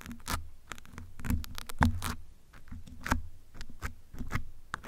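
A metal pin and fingertips rapidly scratch the surface of a grey foam windscreen on a black microphone. The result is a dense run of short, crackling scrapes with thick, muffled low rumbles underneath and thin bright streaks on top, rising and falling in loudness throughout.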